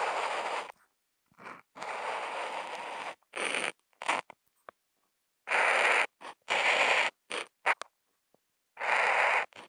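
A Posca marker tip, picked up by a contact mic on the marker, scratches short lines, hash marks and rectangles across a flat white Kent paper sheet. The result is a series of dry, bright, scratchy bursts of uneven length, strongest around 2 kHz, separated by irregular silent pauses.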